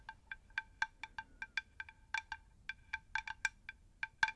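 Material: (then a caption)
Terracotta. Long acrylic nails tap the flat face of a round, unglazed terracotta plant saucer, about 20 cm across, shallow, hollow and empty, held upright in both hands. About twenty quick, separate taps each give a short, bright, bell-like clink centered near 1.6 kHz that dies away almost at once, with some taps louder than others.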